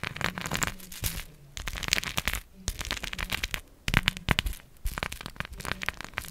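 A round, palm-sized cork coaster, solid and flat and densely covered with small plastic googly eyes, is held in one hand and tapped and scratched with long acrylic nails. Rapid, crackly clicks and bright plastic rattles come in uneven bursts with short scratchy runs between them. The taps are short and dry, with almost no ring.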